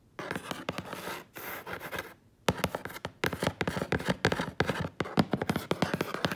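Long acrylic nails and fingertips scratch and tap the large, flat side of a hollow brown corrugated cardboard box. Bursts of dry, rustling scratches give way, after a short silent pause, to quick runs of sharp, hollow-sounding taps mixed with scraping.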